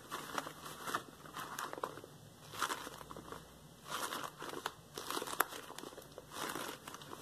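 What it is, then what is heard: Rubber gloves rubbed together. A pair of yellow textured latex household gloves is worn on both hands while the gloved fingertips are rubbed and squeezed together. This makes soft bursts of squeaky rubbing and crinkling, with bright, crackly texture mostly in the mid and high range. The bursts rise and fade in uneven waves throughout the clip.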